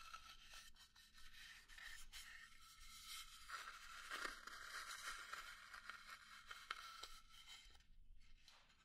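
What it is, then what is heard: Small pine wood box, hollow. A nail scratches and taps on the sides and lid of a small hollow pine wood box. A steady, bright, raspy scraping runs throughout, broken by occasional short, dry taps, before it thins out near the end.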